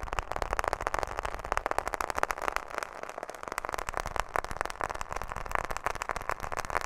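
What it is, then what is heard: Smartphone in plastic case, fingernail tapping. A smartphone in a black plastic case with a glass screen, held close to the microphone, is tapped quickly with long fingernails on both the case and the screen. The result is a rapid, continuous stream of short, dry clicks with a hollow mid-range tone and a little bright edge, each tap dying away almost instantly.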